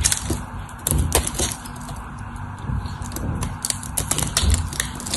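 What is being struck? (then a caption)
Bar of soap carved with a knife. A solid white bar of dry soap, held in the hand, has its edge carved with a utility knife, peeling off curled shavings and crumbly flakes. A steady stream of dry, crisp crackles and scraping snaps runs throughout, with short bright clicks over a low, rough crunch that dies away almost instantly.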